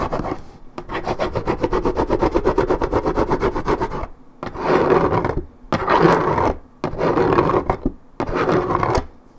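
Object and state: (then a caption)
Paperboard juice carton being scratched. Long red nails scratch and rub the coated cardboard top of a 1.75 L Minute Maid paperboard orange juice carton. A few seconds of rapid, rhythmic raspy scratching are followed by several longer, fuller rubbing bursts separated by short pauses. The sound is dry and papery with a low-mid body.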